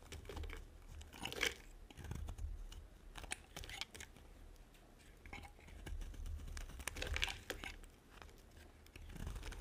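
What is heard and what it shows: A small metal blade scrapes and carves flakes off a solid, dry white oval soap bar, hand-sized and held in one hand, in quick strokes. The strokes are crisp and crunchy, with bright scratchy bursts that rise and fade over a low background rumble.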